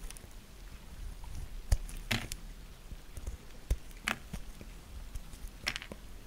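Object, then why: Soap bar. A small solid pink bar of soap is held in the fingers and scraped and cut with a thin gold-coloured knife, peeling off shavings. Soft scraping textures are broken by several sharp, brief crisp cuts with a bright edge over a low rumbling background.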